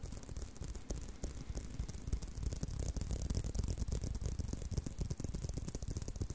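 A tan leather belt with punched holes, held in a loop, is scratched along the strap by fingertips and short nails. The result is a steady run of soft, rapid, fairly irregular scraping strokes with a dull, low-heavy thump under each one and a faint bright hiss on top.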